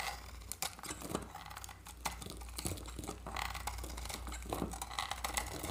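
A utility-knife blade scrapes shavings off a hand-sized, solid oval bar of dry soap with a blue varnished coating over an orange core, held in the hand. Quick, dry scraping strokes produce sharp, crisp clicks and crackly bright rasps with very short ring over a steady low hum.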